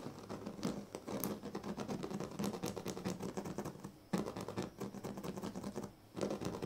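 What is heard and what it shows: Fingertips scratch and pluck at the weave of a large, flat woven sleeping mat made of thin dyed reed strands. The result is a dense, continuous run of dry, crackling scratches with a low-mid body and little brightness. Brief pauses break the texture before it resumes.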